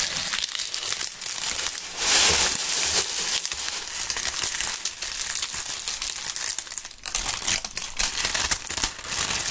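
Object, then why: Maple leaves. Large dry maple leaves held in gloved hands are crumpled and rubbed together, producing a dense, continuous crunching and crinkling. The sound is bright and crackly with almost no low end, swelling into a louder burst of crushing near the two-second mark before settling into steady, uneven crunches that continue to the end.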